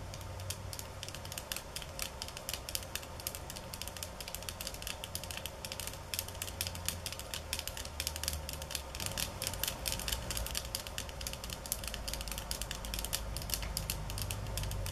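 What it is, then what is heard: Bamboo slat mat. Long nails tap and scratch across a rolled-out bamboo sushi-style mat of thin wooden slats tied with string, lying on a countertop. A dense, irregular stream of quick, bright clicks and dry scratches continues throughout, with a low steady hum underneath. The tapping grows slightly louder and busier through the middle of the clip.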